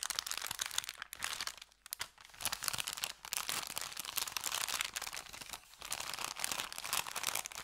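An empty, thin brown kraft paper bakery bag with red print is squeezed, folded and crinkled with fingers and thumbs. It gives a dense, bright, crunchy crackle of paper with almost no low end, easing off in short lulls near the 1.5, 2 and 5.7 second marks before resuming.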